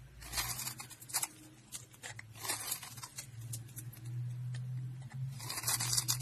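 A dark blade scrapes across a solid lime-green dry soap bar held between fingers with green painted nails, sending small cubes flying off. Repeated dry, bright scraping and crumbling bursts rise and fall over a steady low hum.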